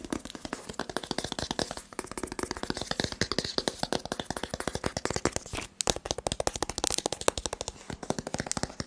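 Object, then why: Cardboard smartphone box. A rigid white cardboard smartphone box held in the hand is tapped rapidly with the fingertips. The result is a steady stream of dry, crisp taps with a hollow papery knock and bright clicky edges, each dying away almost at once, with a brief pause just before the six-second mark.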